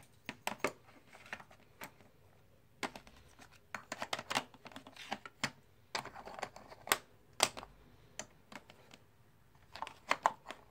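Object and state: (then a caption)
Composite poker chips clicking. Fingertips pick up, stack and click together small solid plastic/clay composite poker chips from stacks in a white tray. Short, bright clacks come in irregular bursts with quiet gaps, each click dying away almost instantly.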